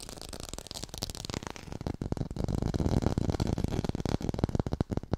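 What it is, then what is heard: Artificial textured orange. Fast tapping on an artificial orange with a textured surface, recorded hi-fi. Dense, quick, uneven taps with a dull, low-heavy thud and almost no ring, growing louder and fuller after the first two seconds.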